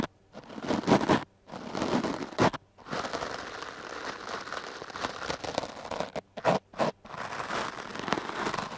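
A hard-bristle brush with a wooden back is swept across a foam microphone windscreen, making close, scratchy, rustling strokes. The sound is a dense crackling scrape, strongest in the mids with a bright, airy top. Bursts of brushing are broken by short silent gaps, then give way to a longer continuous stretch of rapid scratching.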